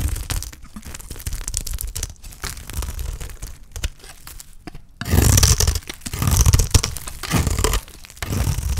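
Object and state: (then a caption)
Dry soap bar being cut. A dry, solid green soap bar held in the hand is cut and cracked with a utility knife blade. Crisp crunching, scraping and tearing sounds come in uneven bursts over a deep low thump. At about five seconds they grow louder and denser, with brighter crackle.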